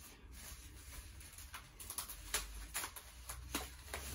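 Knuckles rap on the cabinet of a B&W surround speaker from the Custom Theater S2 system in a knock test. It gives a series of short, dull, dead-sounding knocks with little ring, over a low background hum, showing the cabinet to be solid and heavily built.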